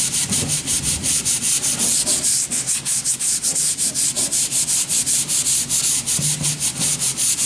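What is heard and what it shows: A long, thin, solid wooden plank is sanded along its edge with a hand-held sanding sponge. Quick, steady back-and-forth strokes make a bright, raspy hiss with very little low end. Each pass fades almost at once.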